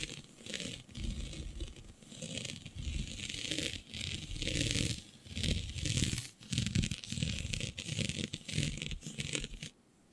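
Long nails scratch across a flat sheet of black synthetic stretch fabric with a shiny dotted pattern, making dense, raspy scratching in uneven bursts. The sound combines a bright, hissy texture with a low, rumbling scrape and dips between strokes. It stops abruptly into near silence just before the end.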